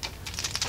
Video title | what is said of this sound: How To Paint Hot Wheels And Matchbox!!! | as you can hear there is a rattle ball in there make sure you shake it up